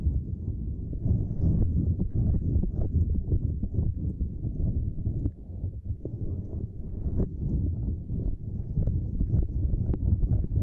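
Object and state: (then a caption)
Silicone grid mat scratched and tapped with nails. Long nails on both hands scratch and tap a small, flat purple silicone lattice mat. The result is a dense, steady stream of short, dull, low-pitched taps and rubbing scratches with almost no brightness. There is a brief softer dip just past the midpoint.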